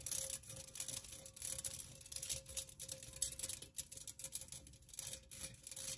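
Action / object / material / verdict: tap / perforated metal pencil cup / metal / none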